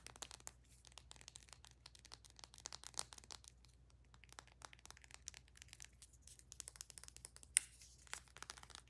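Long nails rapidly tap and scratch along a slim white plastic bath soak tube with a clear cap and a printed label, held upright. The result is a quiet, dense stream of short, dry, bright clicks and crinkly scrapes over a faint steady low hum, with one sharper, louder tap near the end.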